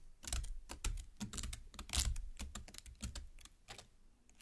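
Long black nails tap and pierce the open red flesh of a large cut watermelon half, worked with both hands. It is heard as a quick run of bright, crisp clicks with soft low thumps underneath, each tap wet and short.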